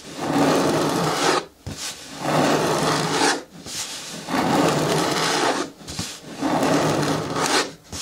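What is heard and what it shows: Long natural nails scratch and rub along the side walls of an upright, hollow green hard plastic bucket with a lid. Four long, raspy scraping strokes of about a second each sweep across a broad band from low-mid to bright highs, separated by short quieter gaps.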